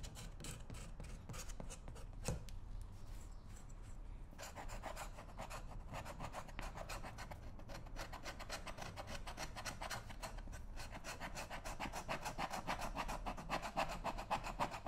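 A small metal pick or scraper held in the fingers is worked in short, repeated strokes along the sole welt and edge of a brown leather lace-up work boot, which rests on a shoe-shine stand with a foot inside. A steady stream of dry, rasping scratches comes at roughly three to four strokes per second with no ring. The strokes soften briefly early on, then grow slightly louder and brighter toward the end.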